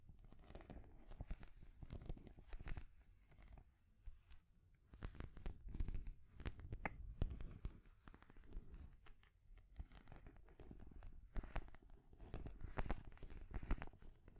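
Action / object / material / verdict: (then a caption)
scrape / painted wooden stacking rings on a peg / painted wood / none. Long grey-painted nails scratch and tap the colorful painted wooden rings of a small children's stacking toy, stacked on a peg beneath a natural wooden ball top. Quiet, dry rasping scrapes and soft, short taps come in uneven bursts separated by brief pauses, with most of the energy low and dull.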